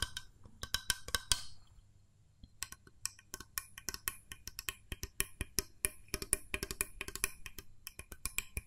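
Fingernails tap the body and metal spring plunger of a small, hollow, cream-coloured plastic mooncake press mold held sideways. The result is a quick series of dry, clicky, bright taps with very short ring, pausing briefly near the two-second mark before continuing in an irregular rhythm over a faint low hum.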